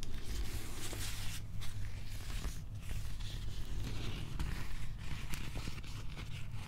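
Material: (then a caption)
Plastic. Fingernails and fingertips scratch along the cord-wrap texture of a molded plastic replica prop axe handle, making a continuous, crinkly scratching with brief brighter scrapes. A steady low rumble sits underneath throughout.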